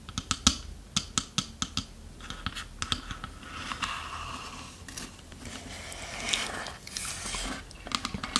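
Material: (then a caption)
Wood. Long nails tap and scratch the side of the wooden lid of a small, hollow, varnished wooden chest box. Quick, sharp, bright taps with almost no ring come first, then give way to longer raspy scratching strokes that swell and fade, and a few more light taps close the clip.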